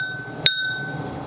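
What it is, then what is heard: Full cup of water. A cup filled with water rests on a surface and is thunked once, giving a single short, bright clink with a brief ring near 3.7 kHz over a faint steady high tone. It shows how a full vessel sounds, as a comparison for choosing a full watermelon.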